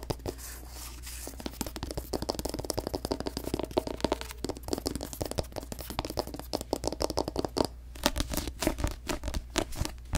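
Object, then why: Paperback book with glossy paper cover. Long nails tap and scratch the glossy paper cover of a paperback novel, a solid paper block tilted and then turned to show the back cover. Dense, fast clicky taps and scratchy rubs run throughout, with short dry transients over a steady low hum.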